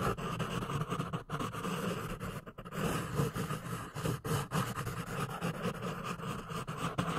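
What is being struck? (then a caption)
Pencil on a paper notepad. A pink pencil tip scratches and writes quickly across the lined paper page of a small notepad with a red cover, held in one hand. A steady, dense scratching runs throughout, broken only by brief dips in loudness, with a soft low rumble underneath.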